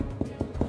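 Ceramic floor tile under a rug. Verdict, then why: Hollow. Three knocks on a ceramic floor tile under a rug give dull, hollow thuds with a low body around 220 Hz and almost no high content, each dying away quickly. The tile sounds hollow because it is a hidden trapdoor leading to a small cellar.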